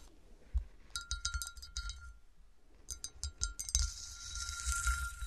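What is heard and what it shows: Someone taps on a melted glass bottle, producing a run of bright, glassy clinks with a steady ringing tone over soft, bassy low thumps. The taps come in two clusters separated by a brief quieter pause, with a faint high shimmer lingering toward the end.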